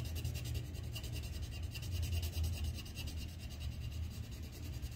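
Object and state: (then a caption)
Colored pencil scratching on paper. A red wooden colored pencil held in the fingers scratches shading strokes along the pot rim on a thin white paper coloring sheet resting on a clipboard. A steady, dry rubbing scratch is heard, with rapid repeated strokes giving a faint bright rasp over a heavier low rumble.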